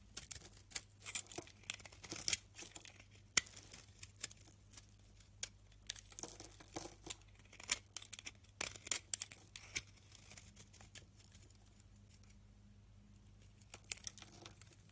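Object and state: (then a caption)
Dry, crumbly soap bar being cut. A utility knife blade scrapes and cuts into a solid, rancid white soap bar, shaving off dry, crumbly pieces. Quiet, bright, crisp scraping and crackling bursts come in quick, irregular clusters over a faint steady low hum. The cutting thins out and grows quieter toward the end.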